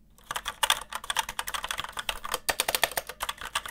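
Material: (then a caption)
Plastic. Fast typing on a full-size mechanical keyboard with red switches produces a rapid run of about two dozen short, bright, clacky keystrokes with almost no low end. The keys sound hollow and a bit noisy, though the keyboard is still fine for gaming.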